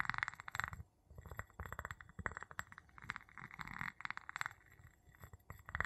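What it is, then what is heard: Empty glass jar. The tip of a wooden handle taps and clinks against the bottom of a small, empty, clear glass jar held upside down. It makes a quick, irregular run of short, bright glassy clinks with a clear tone near 1.9 kHz and almost no ring. Brief pauses and some low, soft thumps come between the taps.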